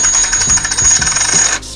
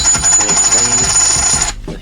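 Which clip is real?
The first.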